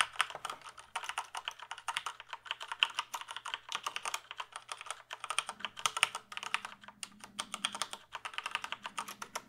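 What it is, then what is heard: Plastic computer keyboard. A full-size plastic computer keyboard is held up while fingertips type on its keys. The result is rapid, continuous clicking with bright, short clacks. A faint low hum runs underneath.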